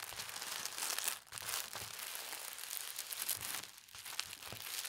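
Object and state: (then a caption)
Tissue paper being crinkled. A folded sheet of thin teal tissue paper is pressed and smoothed flat with the palms and long red-nailed fingers. This gives a steady, bright crinkling and rustling with soft crackles. Two brief quiet dips break the sound, near 1.2 and 3.8 seconds.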